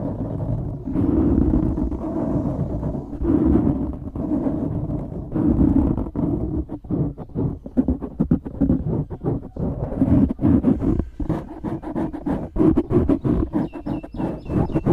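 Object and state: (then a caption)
Foam microphone windscreen being scratched. Fingertips and thumbs scratch and rub the sides of a black foam windscreen on a microphone. The result is a close, muffled, low rumbling texture of dense, rapid scrapes and thumps, with no talking.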